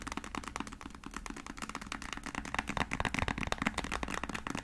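A small, filled white plastic acrylic paint tube is held in the hand and tapped and scratched with long nails. The result is a quick, dense run of dry, clicky taps and scrapes that fade almost at once, with a low steady hum underneath.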